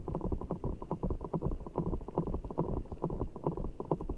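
Fingertips squeeze and rub a large, soft, full giant orbeez ball of blue water gel beads in a clear rubber skin, held over the mic. The result is a fast, uneven stream of low, wet squishes and muffled squelches with a soft thudding pulse. Each squish is short and dull, with little brightness on top.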